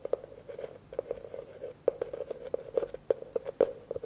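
A hollow, empty blue plastic bucket is held in one hand while a fingertip and nail tap quickly on its outside and rim. The result is a rapid, uneven run of short, dry knocks with a hollow tone around 500 Hz and faint bright clicks from the nail, each dying away almost at once.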